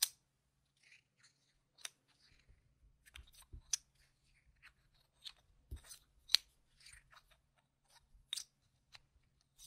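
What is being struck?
Plastic poker-chip-style tokens.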